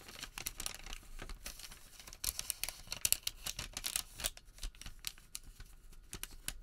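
A printed white thermal paper receipt is unrolled, flattened on a table and bent between the hands. Dense, quiet crinkling and rubbing fill the clip with quick, bright paper crackles and little low-end body.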